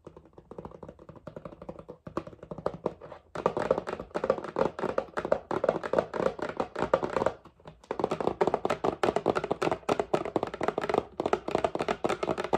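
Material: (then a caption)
Paperboard. Fingernails tap rapidly on a hollow, red and white paperboard whipping cream carton with a plastic cap. The taps are dry, hollow and clicky with a mid-range tone and almost no ring. They start soft, then come in louder dense bursts with short pauses between them.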